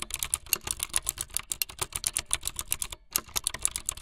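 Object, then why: Plastic mechanical keyboard. Fingertips with long light-blue nails type fast on a full-size plastic mechanical keyboard with white, blue and yellow plastic keycaps and a blue backlit frame. A rapid, steady stream of bright, sharp clacks that stop almost instantly, with little low-end weight. There is a brief pause just before the three-second mark, then the typing resumes.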